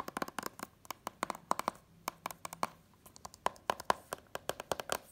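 A hand-held Incredibles DVD set in its cardboard slipcover is tapped rapidly on the front with long nails and fingertips. About thirty quick, dry taps and clicks land in irregular bursts, each bright and sharp with almost no ring, against a quiet background.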